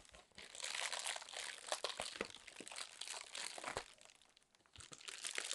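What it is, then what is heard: Plastic air cushion packaging. Long nails squeeze, scratch and crinkle a sheet of inflated clear plastic air-pillow packing film held in both hands. The result is a dense, bright, continuous crackle with sharper crunchy snaps scattered through it and almost no low end. It dips quieter briefly near the end before picking back up.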